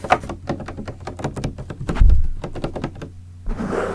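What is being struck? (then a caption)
Partly filled plastic water bottle. Fingertips tap and knock on the body of a large clear green PET plastic water bottle with a red cap, partly filled with liquid. A quick run of short, hollow, low thunks sounds with little ring, including a louder, heavier knock near the middle, and then a brief rustling, crinkling sound at the end.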